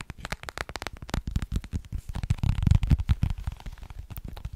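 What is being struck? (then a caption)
Small plastic case. Long painted nails tap and scratch a small, hollow, rectangular holographic plastic case with an iridescent finish, held in the hands. The result is a rapid, irregular run of short, dull, low-pitched clicks and knocks mixed with faint scratchy crackle.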